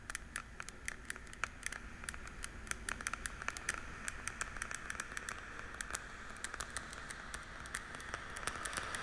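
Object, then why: Plastic pill organizer lids. Long nails and fingertips quickly tap the day-lettered lids of a small, hollow, translucent blue plastic weekly pill case. Dozens of sharp, bright, hollow clicks with a ringing tone around 1.4 kHz sound over a steady low hum. The taps cluster more densely toward the end.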